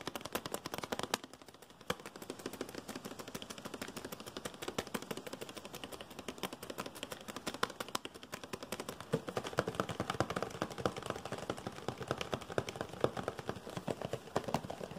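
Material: Cardboard.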